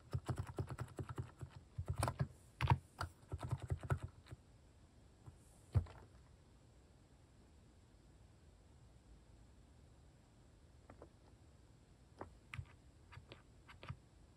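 Fingertips type on a white-case Hanmumu mechanical keyboard fitted with pastel plastic cat-shaped keycaps. A fast run of deep, muffled clacks fills the first four seconds, followed by one louder keystroke near six seconds. After a quiet pause, a few scattered, softer taps close the clip.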